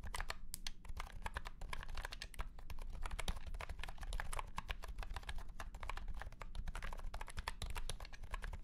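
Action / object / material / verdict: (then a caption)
tap / plastic keyboard with round plastic keycaps / plastic / none. A white and pink cat-shaped keyboard with round plastic keycaps in a hollow plastic case is typed on quickly with the fingertips of both hands. The result is a dense, continuous stream of short, bright, clacky key taps with almost no ring, over a steady low rumble.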